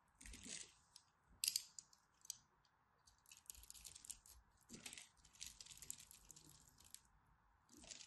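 A craft blade scores a solid purple-and-white striped dry soap bar held in the hand and chips off flakes. The scraping comes through as quiet, bright, crisp crackles and short ticks in irregular bursts, the sharpest around one and a half seconds in. A steady low hum sits underneath throughout.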